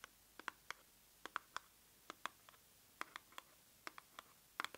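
Long nails scratch and tap a small, hollow, pink printed cardboard box held up in the air. About eighteen quick, dry, irregularly spaced clicks and scrapes are heard, with a papery midrange tone and bright high tops. Each one is very short and dies instantly, leaving no low rumble against a quiet background.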